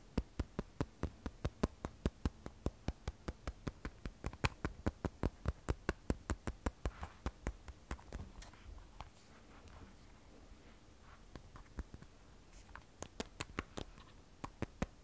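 Fingertips and long nails tap the matte glass back of an iPhone 12 Pro, a solid glass and stainless steel smartphone, held upright and then tilted. Dozens of short, dry, clicky taps come in quick, uneven runs, thin out into softer scattered touches midway, then pick up again toward the end.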